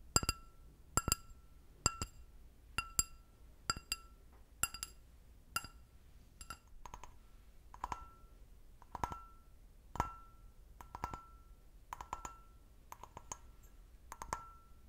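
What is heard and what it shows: An empty, medium-sized clear stemmed glass brandy snifter, held in both hands, is tapped and scratched with fingernails. A steady series of sharp, bright clinks rings with a clear tone near 1.3 kHz. Later taps mix with soft, scratchy bursts around 1 kHz.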